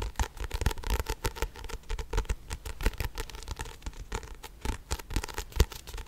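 A small pink paperback book with a paper cover and pages is held in both hands while its pages are flipped and riffled with the fingertips. This produces a rapid, uneven stream of short, dry flutters and soft taps, much like a deck of cards being shuffled. The sound is weighted toward a dull low thump with little brightness.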